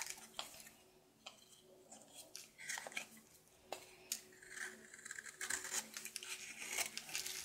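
A red-coated solid soap bar held in the hand is shaved and scraped with a red patterned knife. Soft, crisp scraping and crunchy shaving strokes come in quick, bright bursts, with short pauses between them. The sound is quiet and mostly high-pitched, with almost no low end.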